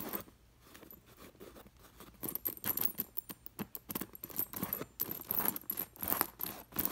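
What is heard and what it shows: Long nails and fingers brush and scratch across the dangling metal discs of a sequin-embroidered pillow on white fabric, making the discs jingle. It starts as soft, faint rustling, then turns into quick, irregular bursts of bright metallic clinking and scratching that grow busier and louder toward the end.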